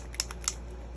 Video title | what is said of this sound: Organize With Me//Swatching Mists & Shimmerz | i shake it till i can hear the ball rattling good in the side of it